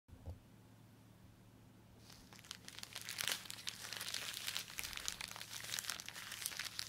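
Gloved fingertips squeeze, rub and bend a small, sealed grey polythene postal mailer with a paper address label, holding a boxed phone case. After about two seconds of near-quiet with a faint low hum, a dense run of bright, irregular plastic crinkling sets in and continues to the end.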